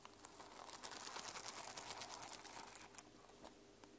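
Long lilac nails and fingertips scratch and brush the teal and silver reversible plastic sequins on fabric covering a small hardcover journal lying on a wooden table. A quiet, dense, bright crinkling and rasping texture runs throughout, with many quick clicks and ticks rising out of it before easing off toward the end.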